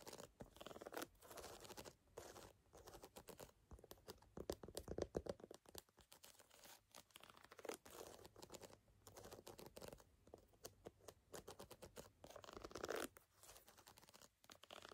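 Fingernails scratch the solid rubber lugs along the edge of a brown lugged rubber sneaker outsole. The result is a steady stream of dry, rasping scratches and crunchy crackles with short pauses between. The scraping is mostly midrange with faint bright edges.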